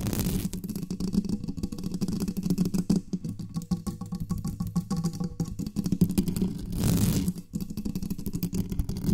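Long nails rapidly tap and scratch the lower sides of a black studio microphone's metal body. The result is a dense stream of muffled, low-heavy thumps and scrapes centered near 170 Hz, with brief bright, hissy bursts near the start and again around seven seconds.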